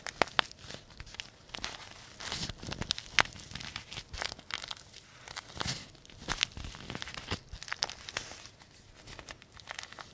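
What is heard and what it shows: A small, thin, crumpled paper tea bag sachet, printed white and green, is held up in one hand and squeezed and crinkled with the fingertips. Dense, bright crackling and rustling continues throughout, with sharp, dry snaps standing out and very little low end.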